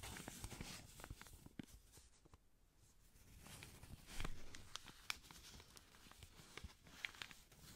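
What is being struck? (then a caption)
Folded paper banknote. A blue-grey paper banknote, folded small and held in black-gloved hands, is rubbed and crinkled by the gloved fingertips. Quiet, dry rustling and soft crackling with sharp, bright snaps of paper dip into a near-silent lull before building again, with the loudest crackle near the middle.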